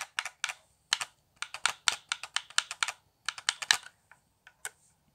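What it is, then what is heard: Plastic game controller. Fingertips tap the buttons and thumbstick of a hollow, handheld, transparent plastic Xbox One controller with a cable. The result is a quick run of short, dry, bright plastic clicks with almost no low end. The clicks come in uneven bursts with brief pauses and trail off into a few scattered taps at the end.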